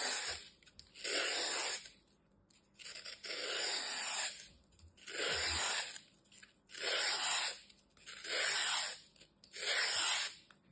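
A utility knife blade scrapes and shaves down the face of a hand-sized, solid, dry green floral foam slab with a crumbled edge, held in the hand. Six long, breathy, gritty strokes come at a steady pace, each a bright hissing rasp that swells and fades, with quiet pauses in between.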